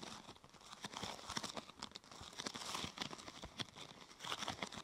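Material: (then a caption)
Plastic. A large, thin purple plastic protector sheet is curved into a hollow arch over the mic while both hands scratch and tap its top with long nails. The result is a steady, bright crinkling and scratching texture broken by quick, dry taps that stop almost instantly.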